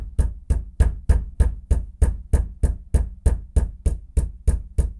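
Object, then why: Bathroom floor. A bathroom floor is knocked with a fist in a steady, even rhythm of 16 knocks, about three per second. Each knock is a short, deep thud that dies away almost at once, with a faint bright tick on top.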